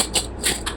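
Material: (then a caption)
Fried breading. Finished fried breaded chicken strips are broken and crunched, giving four dry, bright crackling crunches over a low steady hum. The crisp crackle shows the strips are dry and crispy, since a soft strip could not make this sound.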